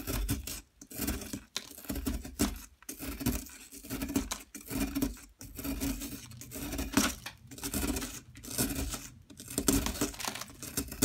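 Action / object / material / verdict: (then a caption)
scrape / plaster excavation block / plaster / none. A metal pick scrapes and chips at a yellow plaster excavation block, knocking loose crumbly chunks that fall away. The sound is a run of gritty, rasping scrapes in uneven bursts separated by brief pauses, with a bright, broadband scratch over a low, hollow rumble.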